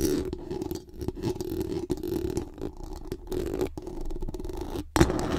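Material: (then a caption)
Metal mesh. Very long acrylic nails scratch fast across the hollow metal mesh dome grille of a large condenser microphone. The result is a dense, rasping scrape with a steady low-mid hum around 340 Hz and faint high crackle. Brief near-silent gaps break it up, and a sharp burst comes near the end.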